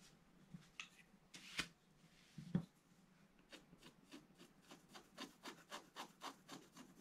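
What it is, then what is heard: Scratch-art paper page. A pointed wooden stylus scratches a black-coated scratch-art paper page in a bound book, near the page's right edge. A few sparse, louder scrapes come first, then a steady run of short, quick strokes with a dry, bright rasp over a soft low body. Each scratch dies away almost instantly.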